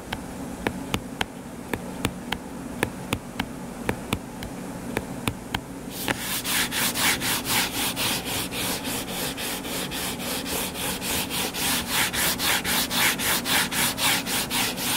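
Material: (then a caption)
Cardboard. Short fingernails tap and then scratch the cover of a closed, solid hardcover paper book lying flat. For the first six seconds there are crisp, separate taps over a low background hum. Then comes a steady, rhythmic run of bright, raspy scratching strokes, each rising and falling in turn.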